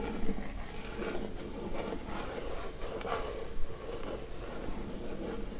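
Long acrylic nails scratch and tap the printed lid of a hollow Glowria printed cardboard gift box resting on a table. A soft, steady, low scratching rustle continues throughout, with a few slightly louder taps standing out.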